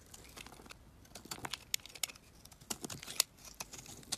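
A metal utility knife blade carves and scrapes chips off a solid black, oval, palm-sized Dead Sea bar soap held in the hand. Quiet, dry, bright scraping and crinkly crackling are broken by irregular sharp little snaps as chips come away, with almost no low end and no ring after each cut.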